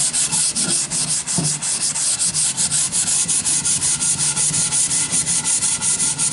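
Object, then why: Wooden plank sanded by hand with a sanding sponge. A long, solid wooden plank with nail holes is sanded by hand with a sanding sponge. The result is a steady, rhythmic back-and-forth scratchy rasp dominated by bright, high hiss, with quick, slightly uneven strokes and a faint low undertone.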